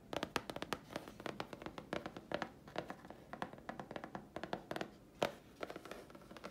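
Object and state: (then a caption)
Grey chipboard sheet. Long fingernails tap and scratch a thin, flat grey chipboard sheet held in the hands. The result is a rapid, uneven run of dry, short clicks and taps with little ring, centred around 574 Hz, with brief scratchy rasps between them.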